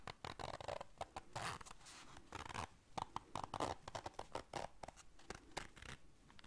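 A small round black fabric zipper case is held in the hands while long dark nails zip its zipper and scratch the fabric. The result is a quiet series of quick, dry zipping rasps and scratchy brushes, some bursts reaching bright highs, with a mid-range texture around 800 Hz.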